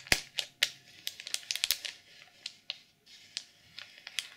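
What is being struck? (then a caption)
Sequin-covered journal wrapped in plastic film. Long purple nails scratch the cover of a black sequin journal sealed in clear plastic film. The result is a series of quick, bright, crinkly scrapes and sharp ticks that die away almost instantly, with faint hiss in the gaps.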